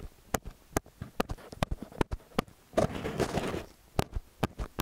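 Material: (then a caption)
Metal. Fingertips and nails tap and rub the metal housings of XY stereo microphone capsules, staying on the metal throughout. Sharp, dry clicks ring with a high metallic edge, with softer taps between them. Around the middle they give way to a longer, dense scratching rub before the taps resume.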